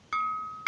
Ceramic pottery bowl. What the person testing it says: this one here should have a higher ping. You hear that? It doesn't go flat.